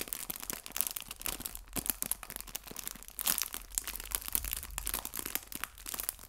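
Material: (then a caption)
Plastic. A small, flat, clear, thin plastic cellophane bag full of artificial fabric maple leaves is held in both hands and crinkled and pressed with fingertips and red-painted nails. The result is a dense run of bright, crisp crackles and snaps. Louder bursts come near the middle and late in the clip.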